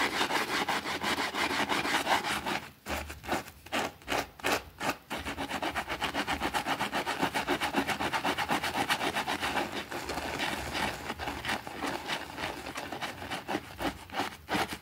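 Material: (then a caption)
Fabric. A small, thin green fabric rug, wet and soapy on a concrete floor, is scrubbed with a white plastic brush while a finger holds it down. Fast, rhythmic, bristly rasping strokes come at roughly two to three per second, with a brief stretch of slower, separated strokes around the third to fifth second. The scrubbing is bright and wet-sounding, with little low end.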